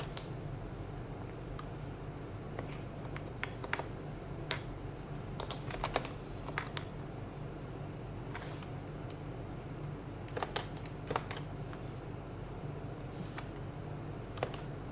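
A child types continuously with the fingertips of both hands on a white compact HHKB plastic mechanical keyboard with plastic keycaps, resting on a desk mat. Quick, short clicks with brief bright taps occasionally stand out over a steady low hum, and each keystroke dies away almost instantly.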